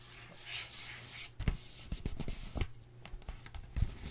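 A flat printed cardboard retail box for a Moda Studio brush set, hollow with contents inside, is held and turned in both hands while long acrylic nails scratch and rub its surface. A soft, bright scraping hiss fills the first second, then gives way to dry clicks, taps and short scratches with dull low thumps and almost no ring.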